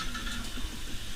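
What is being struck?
Nothing is struck.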